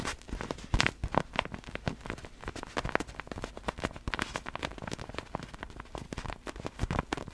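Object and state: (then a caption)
Inflatable vinyl ball. Long black fingernails on both hands tap quickly on a large, clear, hollow vinyl inflatable glitter ball filled with air and held out in front. The result is a dense, uneven run of short, dry, crackly clicks with almost no ring, underlaid by soft, hollow low thumps, with a few louder taps standing out.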